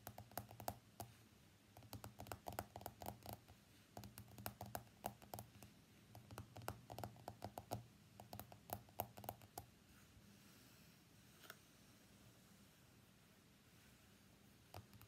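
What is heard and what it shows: An iPhone X lies face up on a mat while fingernails tap its glass screen and frame in quick, irregular bursts of short, dry clicks with a low hum underneath. The tapping runs for about ten seconds, then stops. A few isolated taps follow in near silence.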